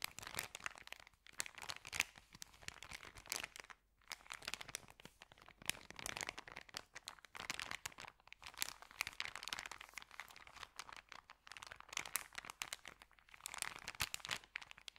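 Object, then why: Paper sandwich bag. Fingers fold and crinkle the corner and edges of an empty white paper sandwich bag with green print. The sound is a dense, bright run of crisp crackles and crunches in quick bursts, with brief pauses around 4 and 8 seconds. There is almost no low end and no speech.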